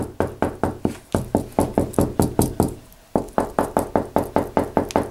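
Knuckles knock repeatedly across a flat, white-painted plastered interior wall, a large surface that may be hollow behind, as the hand moves along it. About two dozen short, dull knocks come in a steady rhythm, with a brief pause partway through. Each knock dies away almost at once.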